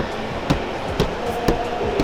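A car front fender fitted with sound-damping material is knocked several times at a steady pace. Each knock is a short, dull thud with a low, dense tone that dies away quickly, sounding solid and full rather than hollow like an untreated fender.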